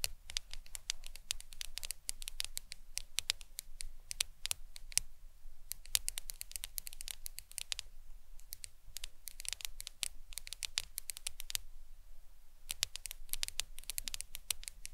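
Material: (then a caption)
Glass. Long acrylic nails tap quickly on the glass screen of a black smartphone lying flat on a towel. The result is bursts of sharp, bright clicks with almost no ring, separated by brief pauses over a faint low background hum.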